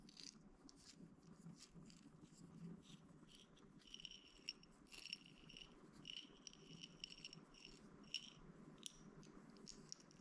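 A small clear plastic toothpick holder with a white bear-shaped lid, full of wooden toothpicks, is held in both hands and tapped and handled with the fingers. It makes quiet, rapid, dry clicks and light rattles with bright, sharp ticks that die away almost instantly, over a faint steady low hum.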